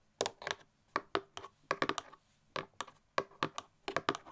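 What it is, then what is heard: Cardboard gift box tapped with nails. Long nails tap rapidly on the edges and sides of a printed cardboard Christmas gift box held up in the air. About sixteen short, dry clicks with a ringing tone near 1.1 kHz come in quick bursts with brief pauses between them, much like typing on a keyboard.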